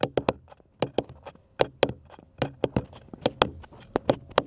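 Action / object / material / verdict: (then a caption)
tap / flat wooden cross cutout / wood / none. Fingernails tap a flat, solid, light-colored wooden cross cutout held in both hands, producing about 15 quick, dry taps in an irregular rhythm. Each tap is a bright click with a short woody knock near 500 Hz that dies away almost at once.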